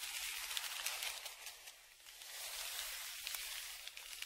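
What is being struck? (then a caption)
Kraft paper padded shipping envelope. A dark flat stick, a tongue depressor, scrapes across the crinkled surface of a large brown kraft paper Amazon padded mailer lying flat and held down by one hand. The result is a steady, bright, hissing scratch with small crackles, dipping softer around the middle before picking back up.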